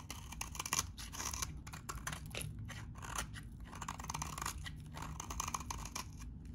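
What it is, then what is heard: Dry bar soap being shaved. A metal utility knife blade shaves crumbly curls from a solid, hand-sized, salmon-orange bar of very dry vintage soap. The result is a steady run of dry, crisp scraping and crunching with quick rasping strokes, bright high hiss and a low, soft rumble underneath.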